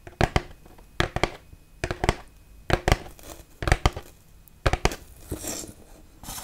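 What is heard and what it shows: Long nails scratch and rub the smooth grey bat relief on top of a large foam Halloween tombstone. The result is a series of short, dry, crinkly scrapes in clusters, with a brief hissy rub near the end.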